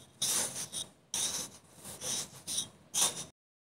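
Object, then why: Kinetic sand block cut with a serrated knife. A serrated metal knife repeatedly slices and scrapes through a solid block of blue kinetic sand molded into a small baby-bottle shape, resting on a pink surface beside other untouched filled bottles. Each cut makes a soft, bright, hissing crunch with little low end, arriving in several uneven bursts separated by short pauses.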